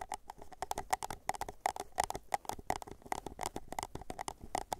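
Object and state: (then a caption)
Empty paper cup. Fingertips tap the base and sides of an empty white paper cup in a quick, steady run of light taps. Each tap is a short, dry, hollow tock that dies away almost instantly, with a mid-pitched body around 760 Hz and faint bright clicks on top.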